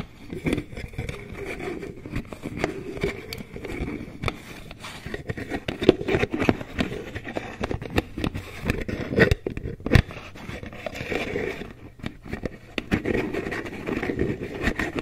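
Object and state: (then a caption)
Plastic cosmetic jar lid. Long nails tap and scratch the rim of a green plastic lid on a hollow, medium white plastic Aveeno cream jar. The result is a steady stream of quick, dry clicks and scrapes with a hollow, low-mid plastic tone, each tap dying away almost instantly.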